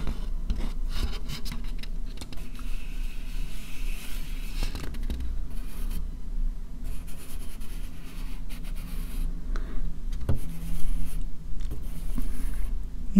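Fingernails rub and scratch an empty, thin, white disposable plastic bowl. A steady, low, dull rubbing runs throughout, with faint scratchy streaks and a few brief sharper scrapes, swelling slightly louder near the end.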